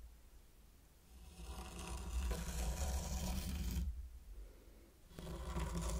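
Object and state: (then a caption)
Sand raked on a wooden tray. A mini wooden rake draws wavy lines through fine pink sand spread over a large heart-shaped wooden board, making a soft raking and scratching sound. The grainy scrape swells in for a long stroke, fades briefly, then returns for another pass over a low, steady rumble.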